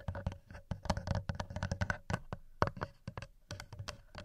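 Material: Metal.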